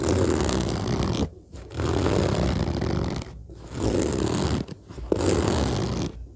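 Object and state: Fabric suitcase scratched and tapped.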